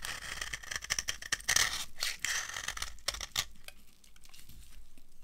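A dry amber laundry soap bar held in the hand is scraped with a metal blade, shaving off crunchy flakes. Repeated bright, dry scraping and crackling strokes overlap in quick succession, growing quieter and sparser in the final seconds.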